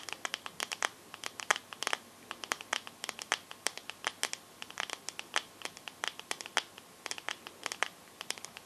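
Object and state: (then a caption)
Smartphone glass back. Long nails tap and scratch the glass back of a teal glass-backed smartphone. A rapid, irregular stream of sharp, bright clicks sounds with very brief ring and no low end, and faint scratchy friction fills the gaps between taps.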